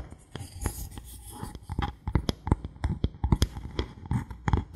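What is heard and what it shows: A thin solid bamboo board held in the hands is scratched and tapped with fingertips and nails. Soft scraping runs underneath a quick, uneven series of dull, low, woody taps that die away almost instantly.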